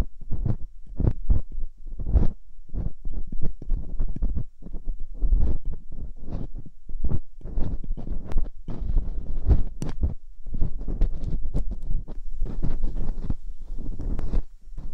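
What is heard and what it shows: Thin metal dental picks are inserted into the ear canals of two soft silicone ears on a white binaural microphone and scraped gently, with long-nailed hands working both sides. A close, muffled stream of quick scratching and rubbing bursts follows, dominated by deep low thuds with occasional brighter crackles.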